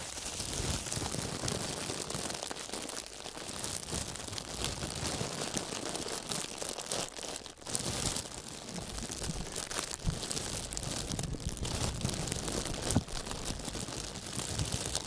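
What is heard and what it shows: Fingertips in fingerless gloves press and rub a thin, wrinkled sheet of clear plastic wrap lying flat, then release it. The result is a dense, continuous crinkling and crackling, bright and broadband with some low rumble. It holds steady for about fifteen seconds, with a brief softer dip around the middle.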